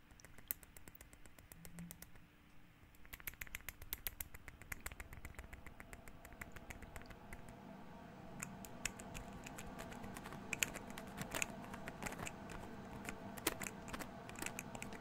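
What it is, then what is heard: Small amber glass bottle. A small amber glass essential oil bottle with a cap is tapped and scratched with fingernails. Quiet, irregular clicking taps with bright glassy ticks sit over a soft, continuous scratching texture that grows slightly denser in the second half.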